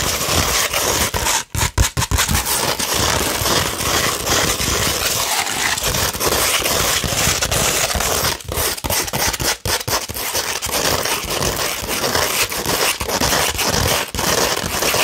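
A thin sheet of fine tan 240-grit sandpaper, held upright, is scratched with long red nails. The result is a dense, continuous, gritty, bright rasping that stays steady for most of the clip, broken only by a few brief dips near the start and in the second half.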